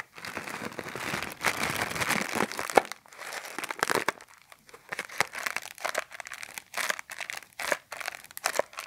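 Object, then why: Thin clear plastic bag. A small, thin, empty clear plastic bag with a blue print is held in both hands while fingertips and nails crinkle and squeeze it. The result is bright, dry crinkling that starts as a dense rustle and breaks into uneven bursts of crackle, with almost no low end.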